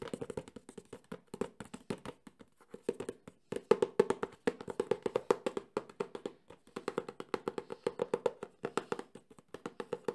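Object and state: Hollow cardboard box.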